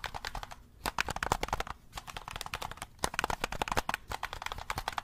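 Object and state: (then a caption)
Plastic game controller. A black, hollow plastic handheld game controller is held in both hands close to the mic while fingertips press its buttons and tap its shell. The result is a rapid, uneven run of short, dry, clicky taps centered near 950 Hz with brief bright edges. Each click dies away almost instantly, with a few quieter pauses between bursts.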